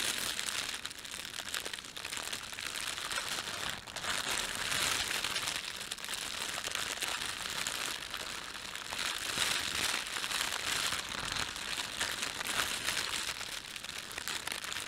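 Fingertips rub and crumple the film of an empty, thin, red printed plastic bread bag. A steady, dense crinkling runs throughout, bright and hissy with almost no low end. Small crackles and rustles blend into one continuous texture at an even level.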